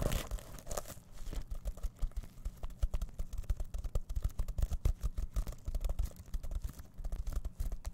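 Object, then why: Plastic sequin-covered fabric pouch. Fingertips rapidly scratch and brush the plastic sequins of a reversible sequin-covered fabric pouch held close to a microphone. The result is a dense, continuous crinkling and scratching texture made of many quick, dry clicks, with a heavy low rumble from the close contact.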